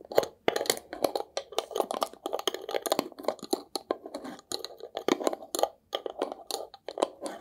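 A small, hollow, square glass jar with a paper label is held in the hands and scratched and tapped with fingernails. Quick bursts of dry, crackly scratching and light clicking taps repeat close together, centered in the midrange with bright edges and no low end. Each sound cuts off almost instantly.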